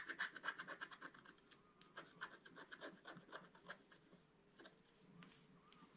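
A wooden stylus scratches leaf shapes into a flat black-coated scratch-art paper board with quick, repeated strokes. The dry, bright scraping is busiest and loudest in the first second, then continues in shorter, softer strokes with brief pauses, and fades to light rubbing near the end.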